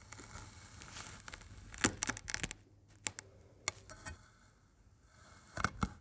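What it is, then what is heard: Kinetic sand slab being cut. A metal knife blade presses and scrapes through a large, flat, solid slab of pink, green and blue kinetic sand shaped like a fish, lying on a white surface, cutting grid lines into it. Bright, crunchy crackles and scraping bursts rise over a quiet, grainy hiss. Loud crunches cluster in the middle, with a few sharp cuts later and a final pair near the end.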